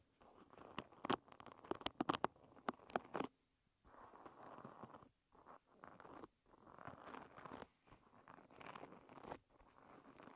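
Long red nails scratch along the rows of wooden pins on a wooden-pin hairbrush. The first few seconds bring quick, sharp, bright clicks as the nails catch the pins. After a short pause come bursts of dry, rasping scratching centred in the midrange, separated by brief silences.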